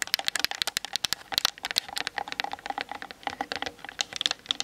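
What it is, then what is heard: Plastic camera body tapped with fingernails. Long nails tap quickly on the top and sides of a Canon DSLR camera body mounted on a tripod, its hollow plastic shell giving back dry, bright clicks. The taps come in a rapid, uneven patter with almost no ring after each one, much like typing on a keyboard.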